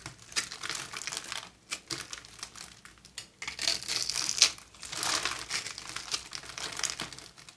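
A utility knife blade scrapes and carves flakes off a dry, solid pink oval bar of soap, palm-sized and held in the hand. Dense, crisp crinkling and crumbly scraping comes in uneven bursts, bright and hissy with almost no low end. The louder passes in the middle and later are separated by brief quieter gaps.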